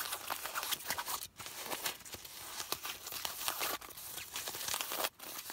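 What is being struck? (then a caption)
Folded nylon umbrella. Long nails scratch and tap the patterned purple nylon fabric of a compact umbrella, folded and lying on a lap. A dense, bright, crinkly rustle of quick scratches and taps runs almost continuously, broken by three brief silent gaps.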